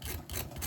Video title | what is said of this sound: Gluten free fried chicken. Gluten free recipe. | just to show how crispy it is. Hear that? Nice crispy